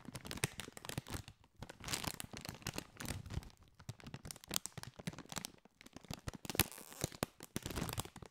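A partly filled Doritos chip bag, a foil-lined metallized plastic bag, is held and crinkled with the fingertips. Bursts of dense, bright crackling and rustling alternate with short quiet gaps. Each crackle dies away almost instantly, with a faint low rustle underneath.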